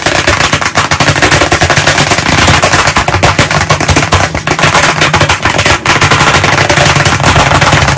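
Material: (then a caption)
Wood. White chalk sticks, one in each hand, tap very fast on a solid, medium flat black chalkboard panel in a wooden frame. The result is a dense, continuous rattle of sharp clicks with a low knock around 145 Hz under a bright, crisp top, briefly dipping before picking back up.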